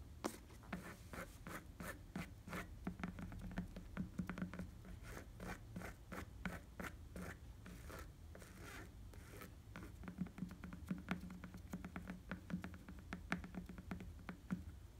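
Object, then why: Rubber bicycle tire tread. Fingertips scratch and tap the tan rubber tread of a bicycle tire, making a quiet, steady stream of short, dry ticks and rasping scrapes. Underneath runs a low hum, and each tap dies away almost instantly.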